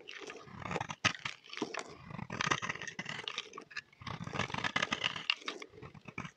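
A solid oval green bar of soap, held in the hand, is scraped and cut with a utility knife blade. Dense, crisp crunching and scraping come in bright, rapid bursts, with a few sharper clicks where the blade bites in. Short pauses separate the strokes.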